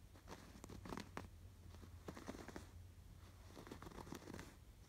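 Fingertips scratch the raised blue and yellow yarn embroidery on a cream woven canvas pillow. Soft, dry, scratchy rasps come in quick irregular bursts over a low, steady hum, each dying away almost at once.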